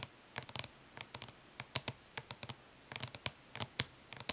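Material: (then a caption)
Plastic. Long nails tap and scratch in short strokes on the printed lid of a closed, flat, hollow plastic eyeshadow palette. About twenty quick, light clicks and scrapes come in uneven bursts, each bright and dry with almost no ring, over a faint low hum.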